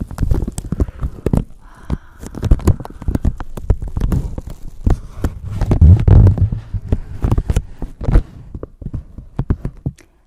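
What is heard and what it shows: A thin clear plastic bag wrapped over a handheld microphone is crinkled and scratched with long painted nails and fingertips, with possible handling noise from the microphone underneath. Dense, uneven bursts of crackling and scratching come with heavy low-end thumps and short, sharp clicks that die away almost instantly.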